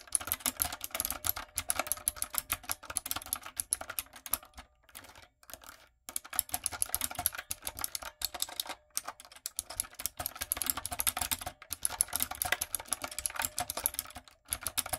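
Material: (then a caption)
Plastic. Long nails and fingertips type on a retro typewriter-style backlit mechanical keyboard with round plastic keycaps. The result is a fast, steady stream of sharp, bright plastic clicks and clacks with very short decay, broken by a brief quieter pause around the fifth and sixth seconds.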